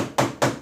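Two knocks on the steel cylinder of a dry chemical powder fire extinguisher, each a dry, dull thud that dies away quickly without ringing. The dull sound is characteristic of this type of extinguisher.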